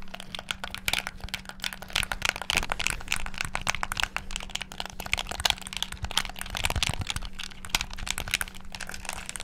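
Fingertips rapidly tap the buttons and sticks of a black, hollow plastic Xbox-style gamepad. The result is a dense, continuous stream of sharp, bright plastic clicks and clacks with almost no ring, over a faint steady low hum.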